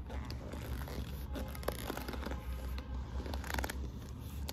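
Long nails scratch and rub across the quilting of a burgundy quilted patent faux-leather handbag flap with studs, which sounds hollow. Soft, dry scratching and brief crinkly scrapes come and go over a steady low rumble, all at a quiet level.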